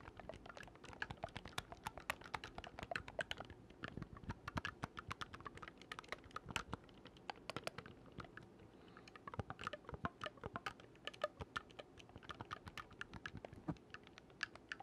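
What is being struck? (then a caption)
Oboe with metal keys. Fingertips rapidly click the silver metal keys of a single oboe with a dark wooden body, held upright. The result is a dense, continuous stream of short, dry clicks and taps with a faint hollow tone around 1.4 kHz. Each click dies away almost instantly, without ringing.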